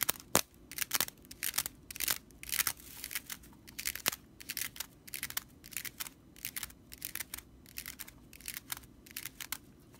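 Long nails scratch across the bristles of a stitched straw whisk broom, producing a rapid series of dry, bright crackling rasps. The short bursts come in quick irregular succession with almost no low end and no lingering ring.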